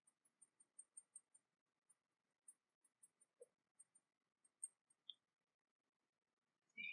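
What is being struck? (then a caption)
Small porcelain teapot tapped with fingernails. Long fingernails tap the sides of a small, hollow, painted porcelain teapot with a dragon motif, held in the hands. The result is a quiet, irregular series of sharp, bright clicks that stop dead with no ring, ending in a brief louder rustle.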